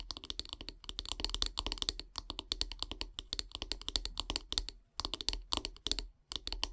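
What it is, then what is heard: Wooden brush handle. Long grey-painted nails tap rapidly along the solid wooden handle of a bristle body brush lying on a wood-slice mat. The result is quick bursts of bright, dry clicking taps that stop almost instantly, broken by brief pauses.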